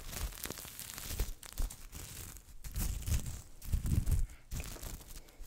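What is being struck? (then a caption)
Sequin fabric Christmas stocking. A hand-sized red flip-sequin Christmas stocking with a white plush cuff, soft and hollow, is held in both hands while long nails and fingertips scratch and brush across the sequins, flipping them. The result is a steady, close crinkly rustle and scratching with bright edges, and soft low thumps swelling as the fabric is handled.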